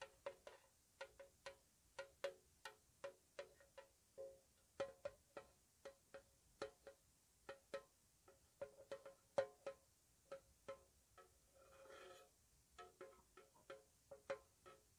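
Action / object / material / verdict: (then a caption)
tap / small painted metal tea tin tapped with fingernails / metal / none. A small, square, white-painted hollow metal tea tin is tapped with long nails, giving a steady run of light, quick taps. Each tap has a short metallic ring centered near 540 Hz with a bright click on top. Around the twelfth second, a softer scraping rustle is heard.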